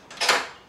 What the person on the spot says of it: you can determine this by knocking on the door and determining if it sounds hollow